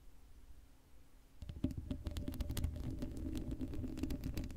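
Long acrylic nails scratch the hollow black steel mesh grille of an uncovered Blue Yeti microphone. After a second and a half of faint, low hum, a rapid, uneven run of dry scratching clicks and rasps begins. It sits over a heavy, boomy low rumble and continues to the end.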